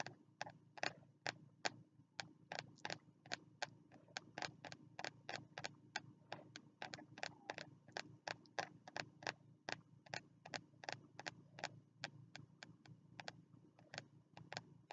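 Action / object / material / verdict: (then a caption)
tap / spiral-bound notebook with card cover / card and paper / none. Fingertips tap about 50 times on the front cover of a small, closed spiral-bound notebook with a green card cover and a solid stack of paper, held upright in both hands. Each tap is a quick, dry, quiet click with almost no ring, landing in a steady, irregular rhythm over a faint low hum.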